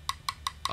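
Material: Metal.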